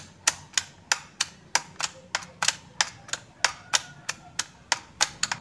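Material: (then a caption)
Plastic. Fingertips with short nails tap and press the hollow key switches of a black plastic A4Tech full-size keyboard, with one hand resting over the keys, while the artificial sunflower in the corner stays untouched. About eighteen sharp, bright plastic clicks come at an uneven pace, each dying away almost instantly, with a faint hollow ring near 1.5 kHz.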